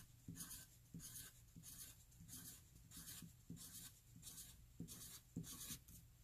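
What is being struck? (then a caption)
Graphite pencil on paper sheet. A graphite pencil tip writes small, fast letter e's on a flat white paper sheet already covered in e's. It makes a repeated bright, dry scratching with a soft low rumble under each stroke, about every half second.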